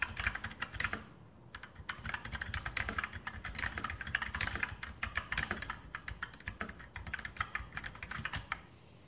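Fingertips type steadily on a full-size RGB Sharpshooter X2000 mechanical keyboard with Outemu brown switches and plastic keycaps on a metal top plate. The result is a dense run of short, dry clacks centred near 1.7 kHz, each with a soft low thump. There is a brief pause near the first second, and the typing trails off at the end.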